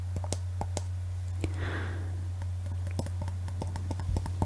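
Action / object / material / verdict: tap / glass Christmas bauble / glass / none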